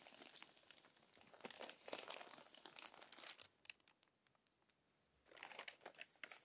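Fingertips with long nails smooth the pages of a crinkled paper magazine, making dense, bright crackling and rustling for about three seconds. A quieter stretch follows with only sparse soft ticks, and then another burst of crinkling comes as a page is flipped.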